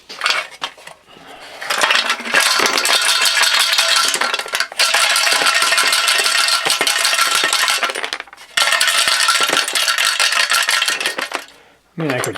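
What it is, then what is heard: Steel fuel tank shaken with loose nuts and bolts inside. Loose nuts and bolts are shaken inside the steel fuel tank of a 1970 Honda CT70 to knock rust loose, producing a loud, bright metallic rattling and clattering in long continuous bursts with brief pauses. Little rust comes out, and the tank's inside has only light surface rust.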